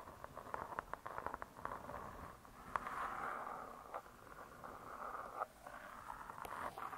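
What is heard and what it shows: Long nails tap on the cardboard cover of a spiral-bound hardcover cookbook, with the hands lifted away at the end. A run of quick, dry clicks is followed by a softer, continuous scratchy rustle centred around 1 kHz, broken by a few sharper taps. The whole clip stays quiet, with little low end.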